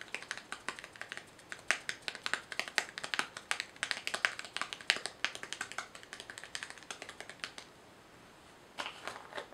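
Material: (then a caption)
Plastic. Long fingernails tap a small white plastic jar with a screw lid held in the hands and fiddle with the lid. The result is quick, bright, dry clicks and tapping with little low end. After a brief quiet pause near the end, a few more taps follow.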